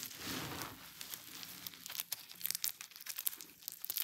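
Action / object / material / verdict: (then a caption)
scrape / crushed soap shavings / soap / none. Both hands press, rub and pinch a mound of crushed dry pink soap shavings between fingertips and thumb, making the flakes crunch and crumble. A soft, bright crinkling hiss opens the clip, then a run of sharp, dry crackles and crunches follows with little low end.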